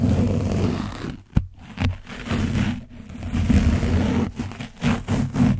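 The edge of a foam sponge brush scratches an orange, dried-paint-coated foam windscreen on a microphone, and a hand rubs over the cover. The result is close, heavy scraping and rumbling with a low, boomy tone, broken by short pauses and one sharp tap. The scratching comes in irregular bursts of rubbing.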